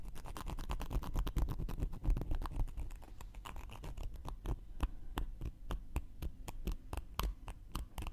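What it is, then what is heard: Cork coaster. A round, flat, solid cork coaster held in one hand is scratched along its edge and surface with a thin wooden knitting needle. Rapid, dense scratching strokes slow into sparser, distinct scrapes, each a short dry tick with a soft, low, rumbly body and faint high edges.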